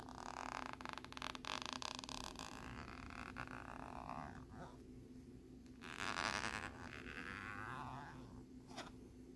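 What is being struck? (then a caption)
Thin plastic lenticular card. A thin plastic lenticular card with a nebula design is scratched with a bobby pin and fingernails. It makes a quiet, dense rasping scrape with rapid ticking textures over a steady low hum. The scraping thins out mid-clip, swells into a brighter, louder scratch around six seconds, and ends with a sharp flick near the close.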